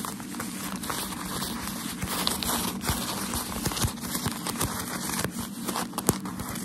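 A wad of thin, crinkled white shoe wrapping paper is held in both hands and rubbed and scratched with fingertips and short nails. It gives a steady, dense crinkling and crackling with soft scratchy bursts across a broad, bright range. Small sharp crackles pop out here and there above the continuous rustle.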